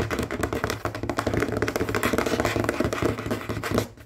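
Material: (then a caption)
Wood. Short fingernails of both hands rapidly scratch and tap on the surface of a large, solid, dark wooden table. Dense, quick taps blend with a rasp-like scratching texture over a steady low undertone, and the sound fades out at the end.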